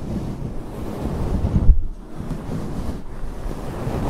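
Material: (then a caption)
Faux fur. Long acrylic nails on both hands scratch a large, fluffy grey faux fur microphone windscreen throughout. The sound is a dense, muffled, low rumbling rustle with almost no bright content, swelling just before the midpoint and briefly thinning before continuing.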